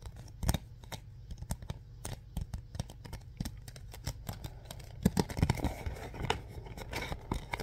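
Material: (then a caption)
Cardboard. A hollow printed cardboard Mr. Bean DVD box set is gripped, tapped and scratched with the fingertips and short nails. Sharp, dry taps and clicks with very short ring sound over a low, steady bed. After about five seconds, denser scratchy rustling and louder grips take over.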